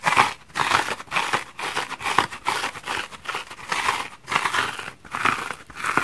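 A multicolored patchwork bath sponge of solid porous foam is held in one hand and scratched hard with fingernails, gouging its surface and dropping small foam crumbs onto the wooden table below. Repeated bursts of dry, crackly scratching and crinkling come in quick strokes separated by brief pauses. The sound is bright and papery, centered around 1 kHz with almost no low end.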